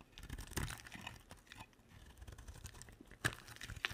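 A box-cutter blade shaves and carves a solid rectangular olive green soap bar. Dry, crunchy scraping and crinkly crackling continue throughout, with a few louder, sharp cracks standing out along the way.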